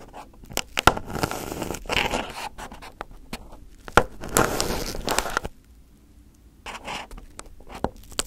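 Fingertips and a small pin poke and pick at crumpled aluminum foil wrapped over a round microphone head. Close, crinkly crackles and sharp clicks alternate with bright scraping rustles. The bursts come at irregular intervals, with a quiet pause about two-thirds of the way through before the crinkling resumes.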